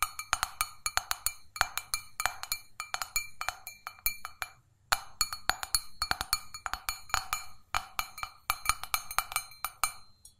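Long fingernails rapidly tap an empty, hollow stainless steel mug, held up, on its sides and base in quick irregular bursts. Each tap gives a short, bright metallic clink with a ringing tone near 1.4 kHz and high overtones. There is a brief pause just before the five-second mark before the tapping resumes.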